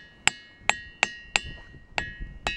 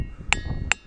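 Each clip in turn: First: ringing rock (resonant diabase boulder). Second: ringing rock (resonant diabase boulder).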